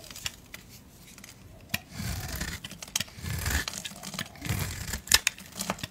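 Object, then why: Bar of soap scraped with a blade. A blade scrapes a solid blue Dial bar soap held in the hand, giving crisp, dry scraping strokes with sharp high clicks and brief crackles. Longer rasping passes swell between quieter moments, and each sound stops almost at once with no ring.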